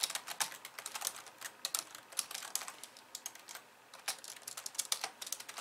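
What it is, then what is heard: Plastic computer keyboard being typed on. Long polished nails type rapidly with both hands on the plastic keys of a compact pink and white computer keyboard. The result is a quiet, fast stream of bright, dry clicks and taps with almost no low end, each dying away almost instantly, with a brief lull just before the fourth second.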